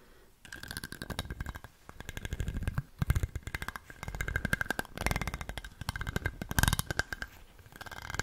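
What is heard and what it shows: A small light-blue plastic stick is scraped in quick strokes across the ribs of a large, dark, ribbed glass bottle with a swing-top, which is hollow and appears empty. Each stroke gives a rapid run of tiny clicks that blur into a buzzing rasp, with a low hollow body and a steady ringing tone near 1.6 kHz. The bursts come in repeated waves with short pauses between them.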